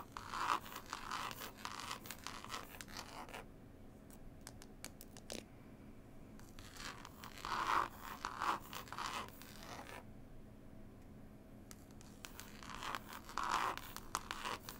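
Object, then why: Linen cloth and paper-covered hardcover CD case. Long pointed acrylic nails tap and scratch across the illustrated paper label and green linen cloth of a cloth-bound, book-style hardcover CD case. Quick, dry, scratchy taps come in busy bursts with a gritty midrange and brighter crackle, separated by quieter stretches of sparse, light ticks.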